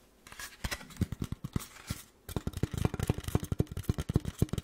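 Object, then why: Styrofoam block. Fingertip-like tapping on a block of styrofoam produces a quick run of soft, bassy, sticky taps with very short decay, mostly low in tone. The taps are sparse at first, then come faster and denser after a brief pause.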